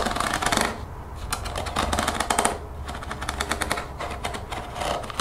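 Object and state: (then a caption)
Plastic spray bottle. Long fingernails tap quickly on the body of a translucent plastic spray bottle, partly filled with liquid and held upside down. The dense, light clicks come in bursts with short pauses between them, over a low steady hum.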